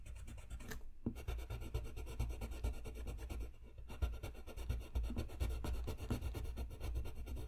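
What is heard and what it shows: A dark blue colored pencil scratches and rubs across a thin, solid sheet of flat white drawing paper lying on a desk, in coloring strokes. The result is a steady, soft, low-heavy scratching texture of quick, uneven back-and-forth strokes, about two per second, with brief lulls near the one-second mark and just before the four-second mark.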